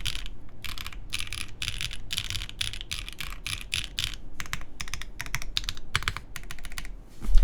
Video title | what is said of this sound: QK Neo65 Cu Build Stream | this sounds solid I mean like it doesn't really sound Hollow it's completely foamless